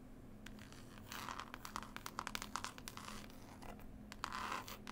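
Long nails scratch and tap across the textured green cloth cover of a closed, solid hardback book with a picture label. The result is dry, bright scratching mixed with quick, sharp taps that build in density and loudness, over a faint steady low hum.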